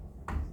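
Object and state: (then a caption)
Solid surface, dull percussion note. A single tap on a solid spot of a classroom surface with cement underneath gives a short, dull, low thud that fades quickly. This is the flat "mate" percussion sound of a solid surface, as expected over solid material.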